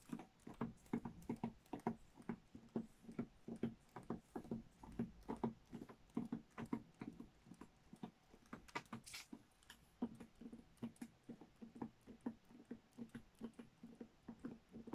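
Fingertips and long nails tap along the length of a long roll of green Christmas wrapping paper on a cardboard tube. They make a quick, uneven patter of soft, hollow, papery thuds with a low resonant tone. Each tap dies away almost at once.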